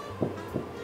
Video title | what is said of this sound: How To Make Sourdough For Beginners • Tasty | tap it and look for a hollow sound at the bottom